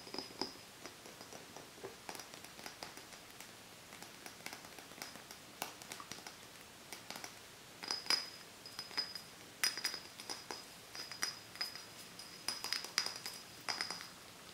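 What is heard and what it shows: Fingernails tap and scratch the glass body of an empty matcha soda bottle with a printed paper label as it is handled and turned. The quiet clip is full of short, bright clicks and clinks with a brief high ring, over faint scratching, and it grows busier and louder in the second half.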